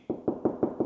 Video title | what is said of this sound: What are house walls actually made of? | if I just tap the wall you can hear straight away that it sounds Hollow